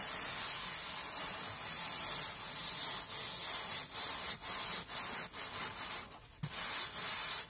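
A dry-looking rectangular kitchen sponge of soft, porous, hollow-celled foam with a scrub layer is pressed flat by a hand and rubbed across a tabletop with the fingertips. It makes a steady, bright, scratchy rubbing hiss, almost all high-pitched, broken by short dips between strokes and a brief pause near the end.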